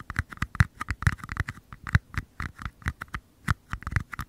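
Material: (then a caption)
Paper. Fingertips tap and scratch the outer walls of two identical small, empty, hollow paper cups held close to the microphone. About 22 quick, dry taps fall in an irregular rhythm, each a soft low thump around 100 Hz with a papery mid-range click near 1–2 kHz that dies away almost instantly. Faint scratchy rustles fill the gaps between taps.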